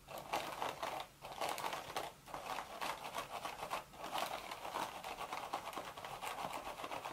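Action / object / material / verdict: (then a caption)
scrape / woven straw hat / straw / none. Long, sharp red nails scratch the hollow woven crown of a cream straw hat. They make a dense, crinkly, rasping scrape centered in the midrange with a bright hiss on top. The scratching runs almost continuously, broken only by a few brief pauses.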